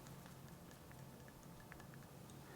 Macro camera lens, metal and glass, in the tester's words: if you shake the lens, you hear nothing. There's nothing, absolutely nothing moving in there when you move it around